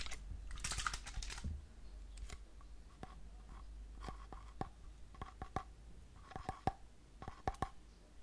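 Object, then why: Plastic shampoo bottle. A white plastic shampoo bottle, possibly with some liquid inside, is held horizontally and turned while fingernails tap and scratch its side and cap end. A brief scratchy rustle at the start gives way to soft, sparse, irregular taps, some in quick pairs, each with a short hollow plastic ring over a quiet low background hum.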